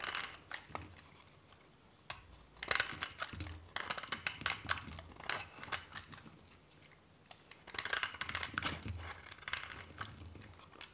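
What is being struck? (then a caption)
Soap bar scraped with a metal knife. A hand-held solid white bar of dry soap is scraped and shaved with a metal knife blade. Bursts of dry, bright scraping and crisp flaking come in uneven clusters, with short sharp clicks and very little ring or low end.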